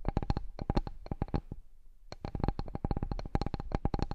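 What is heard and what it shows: Fingertips and nails tap and scratch on the surface of a large, flat, solid bamboo cutting board. Quick, dry taps with a low, thumpy body and bright clicky tops come in rapid bursts, with a brief quieter gap before the tapping resumes. Each tap dies away almost instantly.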